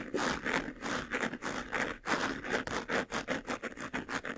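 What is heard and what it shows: Fingernails rapidly scratch the textured lid and front near the buckle of a medium white, hollow faux-leather jewelry box that is closed. A steady run of quick, dry scraping strokes rises and falls in short bursts, with a bright rasp and little low end.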